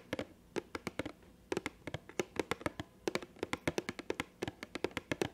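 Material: Cardboard.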